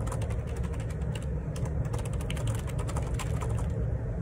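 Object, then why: Plastic ergonomic split keyboard. Fingertips type repeated key presses on a black plastic Perixx Periboard 612 wireless Bluetooth split ergonomic keyboard with a hollow housing and plastic keycaps, resting on a desk. The light, bright clicks are layered over a steady low rumble that holds most of the energy throughout.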